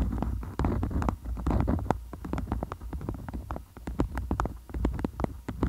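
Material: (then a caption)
Waxed cotton. A beeswax-coated cotton food wrap folded over the mic is tapped and scratched with long acrylic nails. Quick, dry clicks and crinkly scratches arrive in an uneven stream over a deep, muffled low rumble. The wrap stays crisp and close.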